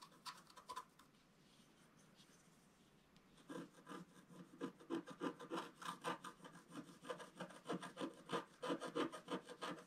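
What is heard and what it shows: A wooden stylus scratches the fish area out of a flat, solid, black-coated scratch art page about A4 in size. A few soft strokes are followed by a near-silent pause, then a steady run of quick, raspy scratching strokes with bright, papery texture.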